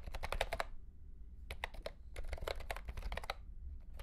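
Fingertips of both hands type on a mint-green retro plastic mechanical keyboard with round plastic keycaps and a hollow plastic case. Quick bursts of sharp, bright clacks come in three flurries separated by brief pauses, each keystroke dying away almost instantly over a low, hollow undertone.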